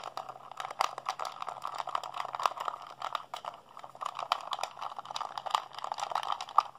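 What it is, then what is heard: Plastic game controller, buttons mashed. A blue, hollow plastic PlayStation 3 handheld controller is held in both hands while fingertips and thumbs rapidly mash its buttons. The result is a dense, continuous stream of quick plastic clicks and rattles with a midrange body and bright tips, and the clicks run together with no ring.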